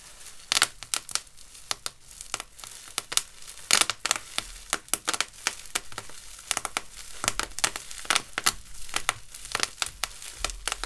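A large, loose sheet of clear, thin plastic bubble wrap with hollow air-filled bubbles is crumpled, rubbed and squeezed between the fingertips of hands in clear disposable gloves. Bright, crinkling rustle is broken by many sharp, dry pops and crackles that die away almost instantly, with a slight rustle from the glove plastic.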